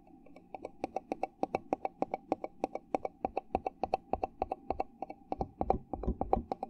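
A fingertip taps and rapidly scratches the flat base of an upside-down red plastic party cup, making quick, short, dry clicks in an uneven rhythm of about three per second. A steady hollow tone around 770 Hz sits under the taps, with bright crisp tops on each hit and a faint scratchy rustle between them.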